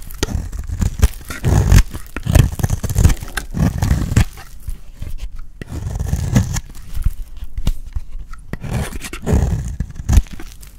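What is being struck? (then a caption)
Bar of soap cut with a metal blade. A solid cream-white bar of dry soap is held in the hand while its edge is shaved with a metal utility blade. Repeated low, crunchy scraping cuts come in bursts, with short, sharp clicks between them and little high-end content.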